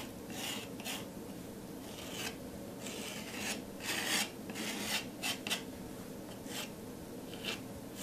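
A metal palette knife drags and scratches in repeated strokes through a thick layer of teal paint on a flat acrylic-painted canvas board also bearing pink paint. Bright, raspy scraping bursts rise and fade over a steady low background hiss.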